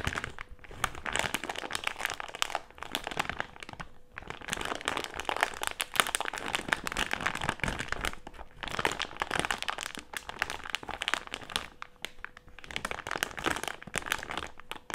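A medium printed plastic-film Haribo gummy candy bag with gummies inside, resting on a table, is crinkled and rubbed with fingertips and nails. The result is a dense, bright crackling and crinkling with short snaps, pausing briefly around the 4, 8.5 and 12 second marks. A faint steady tone sits underneath.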